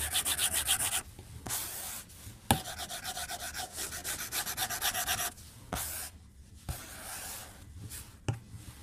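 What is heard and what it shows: A white plastic stylus tip strokes and taps the glass screen of a tablet lying flat on a desk while drawing. Bursts of quick, bright, scratchy rubbing strokes alternate with quieter pauses, punctuated by a few sharp, short taps.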